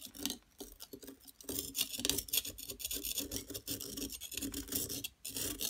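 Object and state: Plaster block being scraped.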